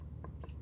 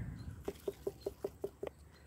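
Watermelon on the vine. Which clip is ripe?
The second.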